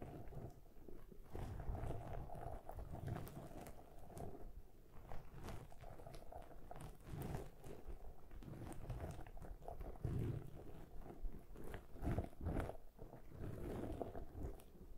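Long manicured nails of both hands scratch and tap a medium-size, soft black foam windscreen on a Zoom handheld recorder. The sound is a continuous, low, muffled rustling and crackling with dense soft taps and bursts throughout, heavy in the low end with almost nothing bright.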